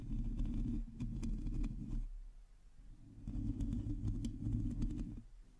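Long teal nails on both hands scratch a hollow metal mesh microphone head, making a dense, low, rumbling scratch with light crackly ticks on top. The scratching runs in two bursts separated by a quieter dip near the middle and fades at the end.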